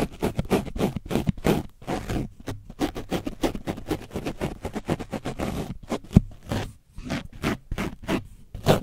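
A foam brush is scratched rapidly over the top and side of an orange foam microphone windscreen coated in dried paint. It makes a fast run of short, rough scraping strokes with a heavy, dull low end and brief pauses between bursts.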